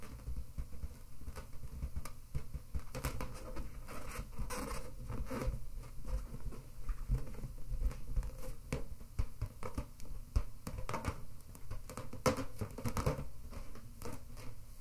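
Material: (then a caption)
Latex. Long red nails and fingertips scratch and rub the surface of an inflated pink latex balloon held between both hands. The result is a dense, irregular patter of short, dry scratches and rubs with a dull, low, hollow body and quick fades, continuing steadily throughout.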